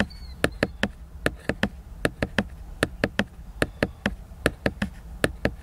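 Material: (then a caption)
Laminated cardboard. Fingertips and nails tap the glossy laminated cover of a large, solid, flat cardboard hardcover book, giving 22 short, dry knocks at an uneven rhythm. Each tap is sharp and bright with almost no ring, over a steady low hum.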